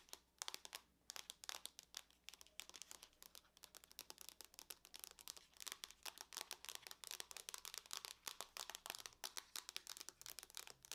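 Long nails tap and scratch the lid of a closed silver aluminum laptop in a rapid, dense run of short, dry, bright clicks and scrapes. The sound is quiet and crinkly, with almost no low end and no ring after each tap.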